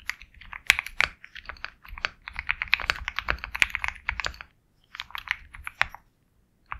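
A compact 65% Sugar65 mechanical keyboard with KTT Kang White switches, a black case and white and black plastic keycaps is typed on continuously with the fingertips of both hands. Rapid, bright, crisp key clacks with almost no ring come in quick bursts, with two short pauses near the end before a final keystroke.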